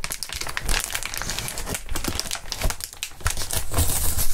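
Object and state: Plastic air column cushion wrap.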